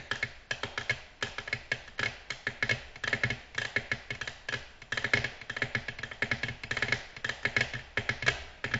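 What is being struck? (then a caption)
Glass tabletop. Long natural nails tap on a flat, solid, glossy black glass tabletop. Quick, crisp clicks follow one another in a steady, rhythmic stream. Each tap is bright, with a short ring that dies away almost at once.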